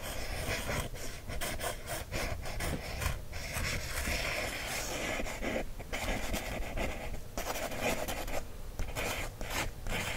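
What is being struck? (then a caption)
Paper coloring book page traced with a wooden stick. A wooden stick traces and scratches over the line-art page of an open paper coloring book. A steady, dry scratching and rubbing continues throughout, with low rumbling underneath and brief rises and dips in loudness.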